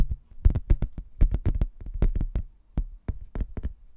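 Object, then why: Laminated hardboard placemat. A rigid laminated hardboard placemat, a solid thin board with a printed manor-house photo and a blue textured border, is held in both hands and tapped and scratched with fingernails. About nineteen dull, low, uneven knocks sound, each stopping almost at once, with faint high ticks and brief scratchy bits between them.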